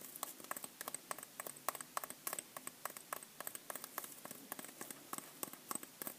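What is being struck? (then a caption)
Pressed-powder bath bomb. Long nails rapidly tap and scratch the surface of a solid white pressed-powder bath bomb about the size of a tennis ball, held in the hand. The quiet, dry, crisp clicks come in an uneven flurry of about three per second, bright and short with no ring, over a faint scratchy hiss.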